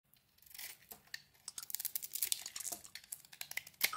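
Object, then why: Bar of soap cut with a knife blade. A utility knife blade shaves and scrapes curls off a solid oval Fa soap bar, glitter-coated in purple and blue and held in the hand. A quick series of dry, crisp scrapes and crackles comes through, bright and thin with almost no low end, each stroke stopping short with no ring.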